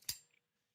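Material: Steel.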